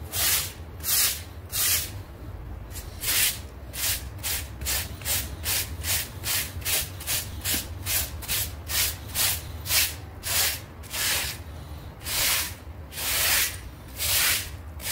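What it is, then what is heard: Synthetic fiber doormat being scrubbed. A hand scrubs a damp half-round synthetic fiber doormat lying on tiles with a plastic bristle scrub brush. Steady back-and-forth strokes give bright, hissy rasps, some short and quick and some longer and louder, over a low, constant rumble.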